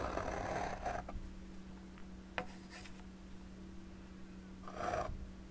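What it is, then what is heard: Palette knife scraping wet oil paint on stretched canvas. A hand with long painted nails scrapes and rubs a metal palette knife across thick wet oil paint on a large rectangular stretched canvas, a taut fabric surface over a hollow frame, while the paint palette sits untouched beside it. Soft, gritty scraping strokes open the clip, followed by a quieter pause with a brief light tick. Another smeary scrape follows near the end, all over a low steady hum.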